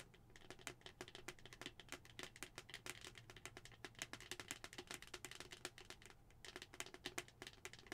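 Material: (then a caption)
Plastic. Long acrylic nails tap rapidly on a hollow white plastic skull-shaped cup with a pink plastic lid, held in both hands. The result is a dense, steady stream of quick, bright clicks with a hollow plastic ring that decays almost instantly, over a faint low hum.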